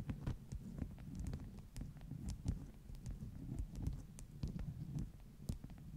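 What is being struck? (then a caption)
Stack of beeswax-coated cotton wraps. Long nail tips tap along the top edge of a stack of flat beeswax-coated cotton wraps. The result is a steady run of soft, quick, dull taps, mostly low and muffled with brief faint clicks, and each tap dies away almost at once.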